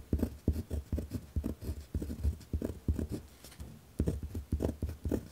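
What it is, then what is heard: Pen writing on a paper notepad. A pen tip scratches firmly across a white lined paper pad resting on a wooden desk while writing. Short, dry scratching strokes come in quick bursts with small pauses, low and rough in tone with almost no bright edge and no ring after each stroke.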